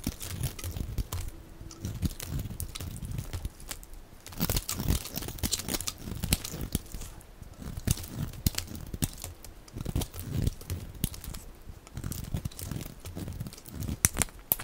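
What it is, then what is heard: Dry bar soap being shaved. A utility knife blade shaves and scrapes curls off the surface of a hand-sized, solid oval bar of dry yellow soap held in one hand, with the flakes piling up below. The result is a steady run of dry, crinkly scraping and crackling strokes, each a short bright burst over a soft low rustle, with no ringing after each cut.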